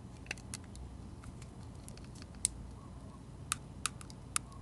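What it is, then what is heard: Bar soap being shaved with a blade. A metal utility-knife blade shaves the pink glitter coating off a solid bar of soap with a dark red interior, held in the hand. Quiet, brief, bright scraping clicks land at irregular moments, several of them sharper than the rest, over a steady low background hum.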